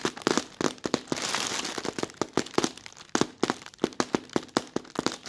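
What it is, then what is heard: Thin plastic bag crinkling. Fingers with short red nails rub and scratch the creases of a bunched-up, soft, thin translucent plastic film bag. It makes a run of sharp, bright crinkles and crackles, with a denser, steadier rustle around the first and second seconds.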